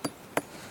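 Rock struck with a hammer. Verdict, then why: Weathered. A hammer strikes a partly weathered rock three times, each blow giving a short, dull knock that dies away almost at once instead of ringing. The dull sound shows the rock has already partly broken down.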